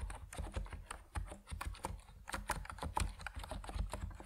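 A compact Epomaker NiZ Plum Atom 68 plastic mechanical keyboard with white and purple PBT keycaps is typed on steadily with fingertips. The result is a quick run of muted, deep keystrokes: short clacks with a low thump and little high brightness, each dying away almost at once.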